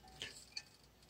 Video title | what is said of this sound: Rejuvenating Old Coal Era Steam Systems With Proper Main Venting | if they rattle like that the chances are they're going to work